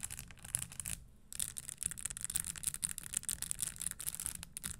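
Long acrylic nails scratch and tap over the dense small spikes on the upper of a red studded leather Christian Louboutin stiletto pump lying on a wooden table. The result is a quiet, continuous stream of bright, dry scratching and rapid clicking with a low rumble beneath, briefly dipping near silent about a second in before resuming.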